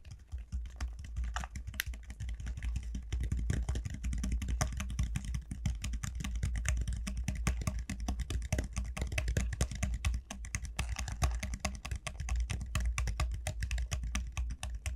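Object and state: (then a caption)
Dried gourd shell tapped with nails. Both hands tap rapidly with long nails on a large, hollow dried gourd lying on a felt mat. The result is a dense, continuous stream of short, dry clicks and knocks over a steady low hum.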